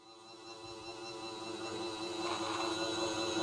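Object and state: Nothing is struck.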